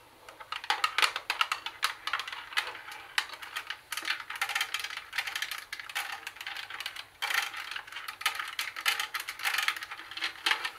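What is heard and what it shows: Long nails tap the plastic buttons of a hollow plastic CD cassette boombox and scratch across its metal mesh speaker grille. The result is a fast, uneven stream of dry, bright clicks and rasping scratches in clustered bursts, with almost no low end. Each tap dies away almost immediately.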